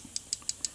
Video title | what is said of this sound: KYMCO 50CC SCOOTER 4 STROKE POWER UP KIT INSTALLATION | you can hear it too a little bit of tapping